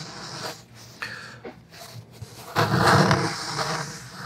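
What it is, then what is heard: Cloth hardcover book cover being scratched. A thick black cloth hardcover book is held upright while fingertips and short nails rub and scratch its cover. Soft, papery scratching and brushing sounds rise and fall, growing louder and fuller partway through.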